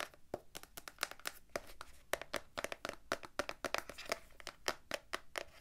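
A small, hollow, printed blue cardboard gift box holding cards is held up and tapped with long, dark-painted nails on its front and sides. The result is a rapid, uneven series of dry, crisp clicks with a bright edge and almost no ring, against a quiet background.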